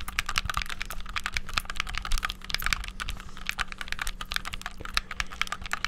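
Buttons on a black, hollow, handheld plastic game controller are pressed rapidly with thumbs and fingertips. The result is a fast, dense stream of short, bright plastic clicks with no ring, over a steady low hum.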